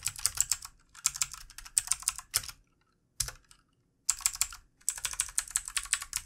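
Fingertips of both hands type on a full-size backlit plastic mechanical computer keyboard with plastic keycaps. Quick bursts of bright, clicky keystrokes come in uneven runs, with a short quiet gap and a lone isolated stroke near the middle before fast typing resumes. Each click is crisp and dry, dying away almost instantly.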